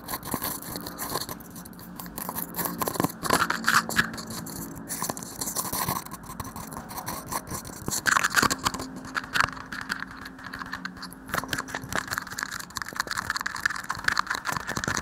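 A small, hollow, empty red plastic shot cup is held upside down over a microphone and tapped and scratched by fingertips and short nails. Rapid, dry clicks and scratchy rasps with a hollow plastic ring around 1.5 kHz continue throughout, with brief louder bursts of tapping.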